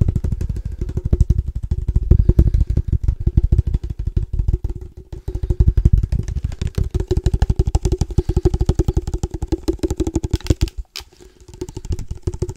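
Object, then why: Padel ball case. A padel ball case is tapped rapidly with the fingertips, producing a dense stream of short, dull, low-pitched thuds with a faint hollow ring. The tapping pauses briefly near the end before resuming.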